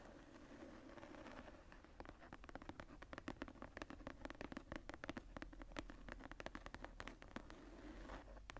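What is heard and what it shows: Long nails scratch and tap the embossed surface of a closed journal with a tooled brown leather cover and a floral relief. Quiet, rapid, dry taps and clicks with very short decay ride over a soft, continuous scratching texture with a warm low-mid body.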